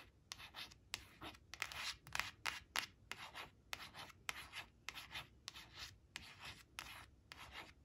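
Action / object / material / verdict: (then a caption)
scrape / laminated cardboard flash card / laminated cardboard / none. Long acrylic nails trace and scratch over the printed balloons on a thin, flat laminated cardstock flash card resting on a fabric tablecloth. About sixteen short, bright, dry scratching strokes repeat at an uneven pace, each a hissy rasp that stops almost at once with no ring.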